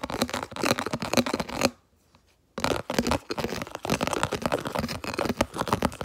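Fingertips and nails rapidly tap and scratch the base and walls of a round, hollow, empty, translucent red plastic food container held toward the camera. The result is dense, crackly scratching and light tapping with a short silent pause near the two-second mark before the scratching resumes.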